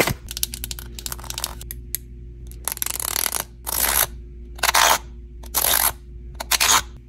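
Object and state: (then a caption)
Plastic fidget sensory bar. A long painted fingernail scratches and slides along the bumpy lime-green textured plastic insert of a small handheld rectangular fidget sensory bar with a clear blue plastic frame, and works its metal-look slider. A rapid run of sharp, bright clicks and ratcheting gives way to several longer, hissy scraping strokes over a faint steady low hum.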